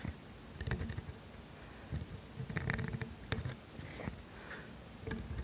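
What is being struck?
Steel dip pen nib on thin grid paper.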